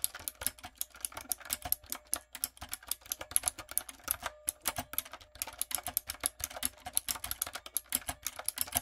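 A typewriter-style backlit mechanical keyboard with round brown plastic keycaps on a dark frame is typed on rapidly with fingertips and long coffin nails. About 54 sharp, bright key clicks and clacks come in quick, uneven bursts with a brief pause near the middle. Each tap is short and dry with almost no ring.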